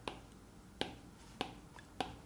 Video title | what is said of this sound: 2025 Best iPad for Art: Pros and cons for each model | when you are drawing when the pen hits the glass there is this hollow tapping sound which I don't quite like.